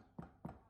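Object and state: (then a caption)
Hollow-sounding baked bread loaf. Two soft, low, hollow taps are knocked on a freshly baked loaf of elvish bread, an enriched yeast dough with a cinnamon swirl filling, just out of the oven. Each tap is a brief, dull thud centered low, around 170 Hz, with almost no ring. The hollow sound shows the loaf is done and can be taken out.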